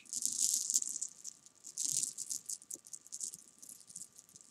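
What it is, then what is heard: Jelly beans. Fingertips and long painted nails rake, roll and tap a loose pile of small, solid, sugar-coated jelly beans against each other on a fabric sofa cushion. The result is a bright, dry, irregular rattling of quick clicks, loudest in bursts near the start and around the two-second mark, then thinning into softer scattered ticks.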